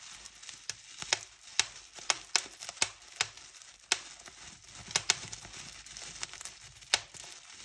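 Fingertips pinch and squeeze the air-filled bubbles of a large, clear polyethylene bubble wrap sheet, producing a string of sharp, bright pops scattered over steady crinkling. Each pop is a brief, high-pitched snap that dies away almost instantly, with almost no low-end body.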